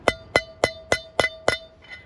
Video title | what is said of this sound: HOW TO SERVICE & ADJUST CARAVAN WHEEL BEARINGS - Lap of Aus - Ep 26 | if you listen to this tinny sound, we're listening for that to change